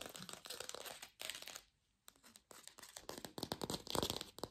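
Long pink fingernails rapidly tap and scratch a small fake plastic lemon held in both hands. The result is a dense, bright patter of crisp clicks and crinkly, tearing-like scrapes, with a brief silent pause in the middle before the quick tapping resumes.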